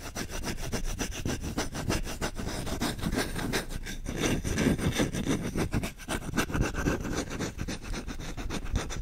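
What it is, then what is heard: Wooden spoon. Fingertips scratch and rub fast and aggressively across the bowl and handle of a solid wooden spoon. The result is a dense, continuous stream of dry rasping scrapes, full in the low end with a bright, airy top, steady for the whole clip and swelling slightly in the middle.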